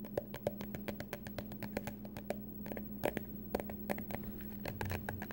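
Long glitter-painted nails tap and scratch a small, hollow white cardboard product box whose contents are not visible. The result is a rapid, uneven series of short, dry clicks and light scrapes with a faint hollow ring, over a steady low hum.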